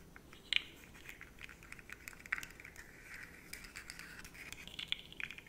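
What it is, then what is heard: Plastic articulated slug fidget toy scratched. Long nails scratch along the ridged segments of a rainbow, segmented, rigid plastic fidget slug about 20 cm long, held up in one hand. The result is a soft, bright, raspy scraping made of quick dry ticks, with a few sharper clicks standing out over the quiet scratching.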